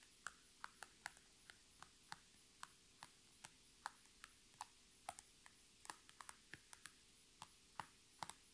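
Long red nail tips tap quickly on a flat, iridescent holographic PVC zipper pouch resting on a table, producing 27 crisp, bright plastic clicks at an uneven pace. Each tap is short and dry with almost no ring, centered around 880 Hz, over a quiet background with a faint steady hum.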